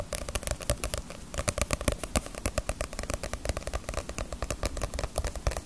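Long nails tap rapidly and continuously on the glossy paper cover of a small, solid paperback Naruto manga volume held upright. The taps are quick, dry clicks over a soft low thud, each dying away almost instantly.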